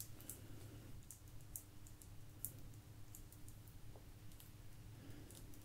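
A small, thin, solid blue agate slice with a crystal rim is held up and tapped and scratched with long nails. Faint, short, bright clicks and taps sound at an irregular pace over a steady low hum.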